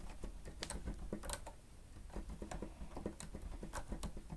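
Fingertips of both hands press and tap the keys of a grey plastic stenotype keyboard with a hollow housing. The result is a quick run of short, dull plastic clicks with low, hollow thumps underneath and a few brighter ticks. Each tap dies away almost at once.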